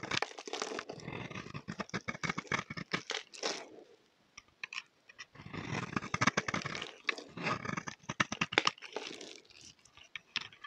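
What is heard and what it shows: A solid oval bar of green soap, held in the hand, is shaved with a utility knife blade, scraping off curls. It makes a dense run of fast, crisp scraping crackles with bright edges. Bursts of shaving are broken by a short quiet pause near the middle.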